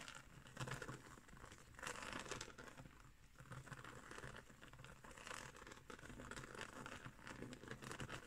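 Fingernails of both hands scratch across the coils of a round, coiled, woven straw trivet, making a continuous dry crinkling and pattering rasp. The sound swells and fades in soft waves over the whole clip.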